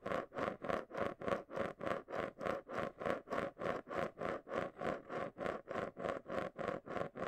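A marble rolls and scrapes around the inside base of a small, round, hollow clear plastic container held and tilted in both hands close to the mic. It makes 27 steady, rhythmic rolling swooshes, each one a scratchy, bright rush over a constant mid-pitched hollow whir near 560 Hz.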